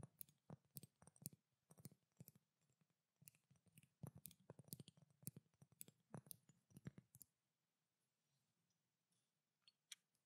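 Long dark nails tap on a pink glass perfume bottle with a silver cap, making a quick, uneven run of sharp clicking taps with a bright tick and a soft low knock. Each tap dies away almost at once. The tapping stops about two-thirds through, leaving quiet broken by a couple of faint, isolated taps near the end.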